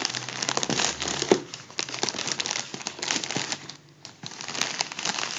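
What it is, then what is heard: Crumpled foil balloon. A partly deflated gold mylar foil balloon, hollow and soft, is crumpled and rubbed by fingers. The result is a steady bright, crinkly crackling with many small sharp snaps, easing briefly into a quieter stretch before the rustling picks up again.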